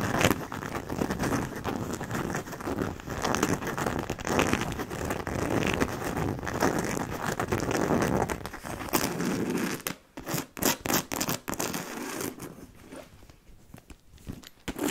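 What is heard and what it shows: Long nails scratch and tap the side and front of a hollow black logo-fabric handbag with leather-look trim and silver buckles. For about ten seconds a dense, bright scratching hiss runs almost without pause. It then breaks into separate short, dull taps with brief quiet between them, ending on softer, lighter scratches.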